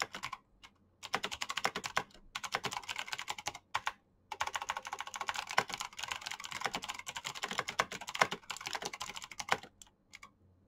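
A black Razer mechanical keyboard with plastic keycaps and clicky switches is typed on rapidly with the fingertips. Bursts of sharp, bright clicks and clacks come in quick runs, broken by short pauses. Each keystroke ends almost instantly.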